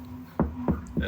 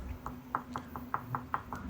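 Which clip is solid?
The second.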